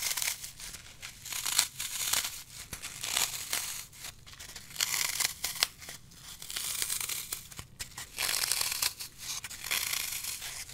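Fingertips and thumbs press into a small, hand-held slab of dry green floral foam (phenolic foam), solid and brittle, crushing it and leaving dents. Dense, crisp crunching and crackling comes in repeated swelling bursts, bright and high with almost no low end. Each crackle is dry with no ring.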